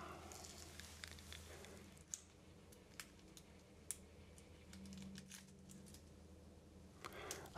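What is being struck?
Whole onion with dry papery skin.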